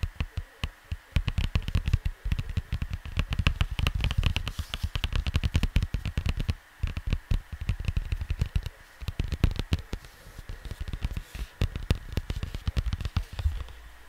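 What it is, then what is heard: Cardboard record sleeve. Fingertips tap and scratch across the printed surface of a flat square cardboard LP record sleeve, apparently hollow, lying on a desk. Rapid, uneven bursts of short, dull, low thumps come with soft, dry scratching. The taps stop dead with no ring.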